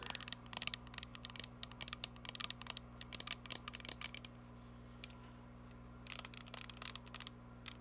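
A filled, glittery plastic body mist spray bottle is tapped and scratched with long nails, producing quick, bright clicks and scrapes in dense bursts. The sounds cluster over the first four seconds, thin out through a quieter middle stretch, then pick up again near the end, all over a steady low hum.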